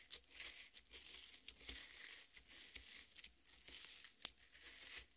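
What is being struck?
Half watermelon, rind and flesh.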